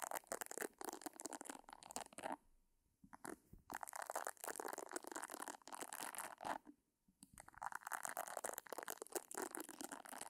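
Long nails scratch the round nubbed pad of a pink silicone facial cleansing brush held close by, making dense, dry, crackly scraping bursts. Two quiet pauses break the scratching near 2.5 and 7 seconds.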